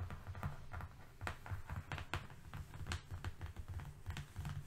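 Fingernails of both hands tap and scratch quickly on a long, thin, flat strip of brown corrugated cardboard lying on a fluffy rug. The result is a rapid, steady patter of dull, low thumps mixed with brief, dry scratchy clicks that die away almost at once.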